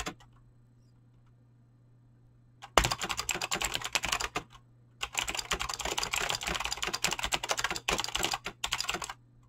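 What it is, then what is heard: Mechanical keyboard with PBT plastic keycaps. Fingertips with short painted nails type fast on a full-size mechanical keyboard with Razer green clicky switches and pink-blue PBT plastic keycaps, resting on a desk. After about two and a half seconds of near silence with a faint low hum, a burst of rapid, bright, clacky keystrokes starts. It pauses briefly, then resumes as a longer run of dense typing with short gaps, stopping just before the end.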